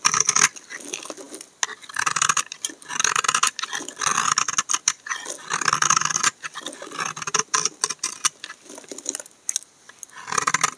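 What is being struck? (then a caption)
Bar of laundry soap shaved with a knife blade. A utility knife blade shaves a solid tan-brown laundry soap bar, peeling off thin slices. The result is a run of dry, crisp scraping strokes, bright and papery with almost no low end, each stroke cutting off short with brief pauses between bursts.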